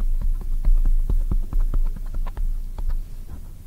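Long nails tap a black oval foam microphone windscreen with hands cupped around it. The result is a quick, irregular run of soft, muffled thumps with a deep, boomy low end over a steady low rumble.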